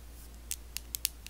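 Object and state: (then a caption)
Plastic facial cleansing brush. Long blue acrylic nails tap and scratch a handheld pink and white plastic electric facial cleansing brush with a hollow body. Six short, bright plastic clicks stand apart over a quiet, low steady hum, each dying away almost instantly.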